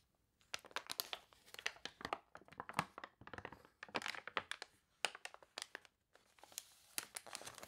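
Hands with long nails turn the wavy, water-wrinkled glossy pages of an open paper toy catalog and press them flat with their fingertips. The result is dense, bright crinkling and crunching in quick bursts, with short pauses between them and almost no low end.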